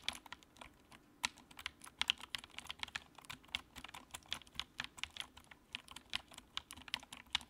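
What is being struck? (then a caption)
Plastic mechanical keyboard. Fingertips type steadily on the keycaps of a compact white plastic mechanical keyboard with a backlight. Each keystroke is a short, crisp, bright clack with almost no low end and very quick decay, forming an uneven run of separate taps over a quiet background.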